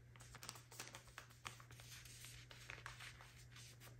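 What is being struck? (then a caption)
Soft plastic packaging bag filled with cotton pads. A soft plastic packaging bag full of cotton rounds is held in the hands and scratched and tapped with long acrylic nails. Quick, bright crinkly taps and scratches come in an uneven series over a steady low hum. The sound is quiet and close, and each tap dies away almost at once.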